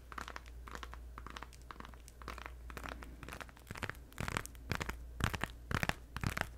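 A hand-sized, plastic-wrapped pink Orbit gum 3-pack, full of gum packs, is held close to the mic and crinkled, squeezed and tapped with long red nails. Sharp, bright crinkles and crisp clicks come in irregular bursts over a steady low hum, growing louder and denser toward the end.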